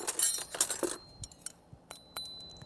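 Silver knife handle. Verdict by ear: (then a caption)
Filled. Silver knife handles of another pattern are tapped together, making a dense burst of bright, high clinks followed by several separate short, dull-edged ticks with a faint thin ring. The handles are filled, not hollow.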